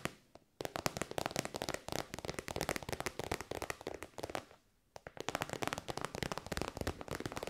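Long white nails tap rapidly on a hollow, shiny pink metallic faux-leather pouch. Dense bursts of crisp, dry, bright clicks come in quick runs, with a short pause before the tapping picks up again.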